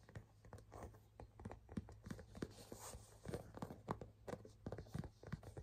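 Fingertips and nails tap and scratch the flat front panel of a small, hollow burgundy pebbled-leather crossbody bag held in the hand. A quiet, uneven run of short, dry, muffled taps mixes with faint scratching, mostly low and dull with almost no brightness and no ring after each hit.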